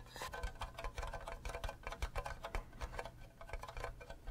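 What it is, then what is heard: Hollow plastic mug tapped with fingernails. Fingernails tap rapidly on the sides and base of an empty, green, cube-shaped hollow plastic Minecraft creeper mug with a handle. The result is a quick, irregular run of light, dry clicks that die away almost instantly, over a steady low background rumble.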